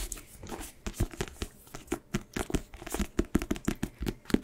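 A small paperback book, "Monk," with a solid paper block and a glossy card front cover is held up in both hands while fingertips and nails tap and scratch the front cover. A quick, uneven run of dry, crisp taps and short scratches, each with a soft low thump and a brief papery hiss and almost no ring.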